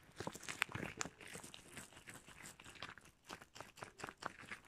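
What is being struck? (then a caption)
Rubber household gloves. A pair of shiny red rubber household gloves worn on both hands, with the gloved fingers rubbed, squeezed and squeaked against each other up close. The result is a continuous run of bright squeaks and crinkly rubbing bursts with sharp high squeals.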